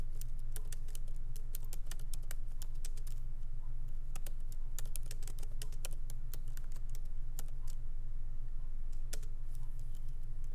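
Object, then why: Laptop keyboard with plastic keycaps. Fingertips of both hands tap lightly on a MacBook Pro laptop keyboard with black plastic keycaps in an aluminum body, resting on a wooden desk. Quick, uneven, crisp key clicks run steadily throughout over a constant low hum.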